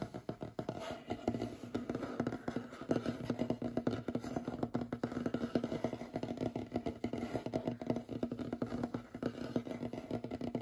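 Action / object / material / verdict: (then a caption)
tap / wooden tabletop / wood / none. Fingernails on both hands rapidly tap and scratch across a large, solid, light wooden tabletop. The result is a dense, continuous patter of quick, dry clicks and scrapes with very short decay. The tone is mostly low-mid and woody, with little bright content.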